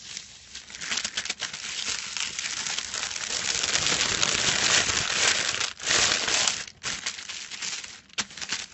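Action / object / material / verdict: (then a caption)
scrape / metallic foil sheet / metal foil / none. Fingertips of both hands scratch and scrunch a large silver metallic foil sheet lying flat on a white cloth. The result is a dense, bright crinkling and crackling with almost no low end, building to its loudest in the middle and breaking off in short pauses near the end.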